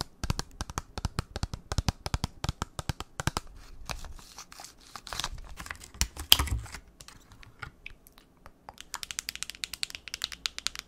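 A small, flat, hollow pink printed cardboard b.colour eyeshadow palette box is held up close to a microphone and rapidly tapped and scratched with long nails. Quick, dry, bright clicks patter like typing on a keyboard, broken by stretches of rough scratching in the middle and a louder scrape just after six seconds. The tapping then resumes softly to the end.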